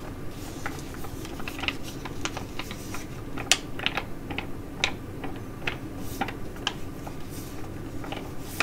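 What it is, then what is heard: Foil sheet mask pouch. A filled tea-tree foil sheet mask pouch is held and crinkled while long nails tap and scratch across it. Sharp, bright clicks and crisp crinkles come in irregular bursts over a steady low hum.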